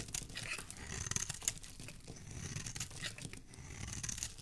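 A flat metal blade scrapes and shaves the surface of a solid, hand-sized, light blue bar of soap held in one hand, curling off flakes. The sound is a continuous dry, crisp scraping with bright, high-frequency crackle and a soft low rumble underneath, with a few sharper crunchy peaks early on.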